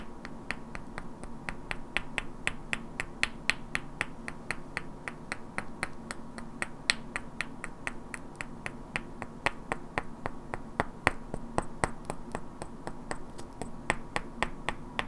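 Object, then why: Pair of small wooden blocks. Two identical hand-sized solid wooden cubes with black painted characters are held in both hands and knocked and clicked against each other, while long natural nails also tap their edges. About fifty sharp, dry clicks come at a quick but uneven pace, each dying away almost instantly with a bright, woody snap centered near 1.9 kHz. A steady low hum sits underneath throughout.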